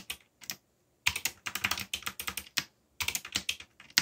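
Fingertips type on a backlit mechanical keyboard with black plastic keycaps. Short bursts of bright, crisp key presses come in quick runs with brief pauses between them. Each click decays almost instantly and has very little low end.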